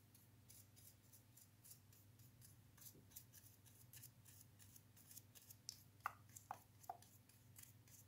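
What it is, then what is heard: Plastic wall switch plate being brushed. An orange-bristled brush with a red handle scrubs and rubs the inner surfaces of an open, hollow white plastic double wall switch frame with black inserts and small metal springs inside, held in a gloved hand, to clean it. Soft, bright bristle strokes repeat over a steady low hum. A few sharper plastic ticks stand out toward the end.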